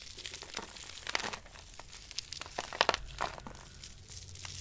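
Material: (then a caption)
Soap. A handful of dry soap shavings is crumbled and dropped, then pressed with long-nailed fingers. Quiet, bright crinkling and crunching comes in a run of short, dry crackles, with a few sharper crunches standing out in the middle.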